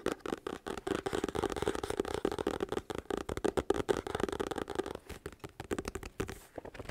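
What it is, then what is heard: Paperback book. A medium, solid paperback book with a paper cover is held close to the microphone while its cover and pages are tapped and scratched with fingertips and nails. The result is a fast, uneven stream of short, dry, papery taps and scratchy rustles that stop almost instantly. The sound is centered in the midrange, with a slight tonal emphasis near 400 Hz and very little low end.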